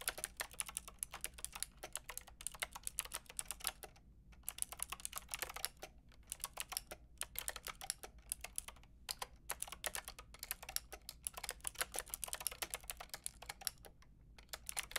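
Long painted nails and fingertips type on a white-and-pink Lofree mechanical keyboard with round plastic typewriter-style keycaps and a hollow plastic case. Rapid, bright, clacky keystrokes run in bursts separated by brief pauses, with each click dying away almost instantly over a faint low background hum.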